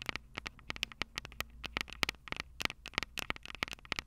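Long purple nails tap continuously on the metal X/Y microphone capsules of a Tascam DR-05 recorder. The result is a rapid, uneven stream of sharp, bright clicks with almost no ring, over a faint low hum.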